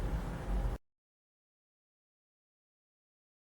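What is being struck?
Nothing is struck.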